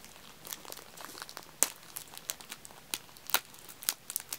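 Fingertips press, tap and scratch along the top of clear plastic film wrapped around a row of small, solid wax-filled aluminium-cup tealights stacked in two layers. The result is soft, bright crinkling with a scattered series of sharp, quick clicks and crackles at an uneven pace, each dying away almost instantly.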